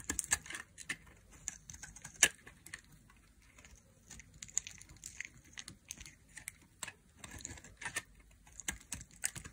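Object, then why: Bar of soap. A solid, hand-sized yellow striped bar of dry soap, held in the fingers, is cut repeatedly with a thin black blade. Each stroke makes a crisp, bright cracking slice, with short sharp snaps that die away almost at once. A soft, scratchy patter, much like quiet typing, runs between them.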